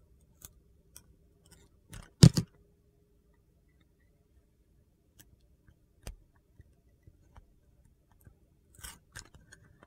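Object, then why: Bar of soap cut with a knife blade. A utility knife blade shaves thin slices off the surface of a solid teal Dial bar of soap held in the hand, exposing its white interior. Quiet, sparse scraping clicks and soft crunches are heard, with one louder, dull, low cutting scrape early on. Each sound is short and dry with almost no ring, and there are long near-silent gaps between them.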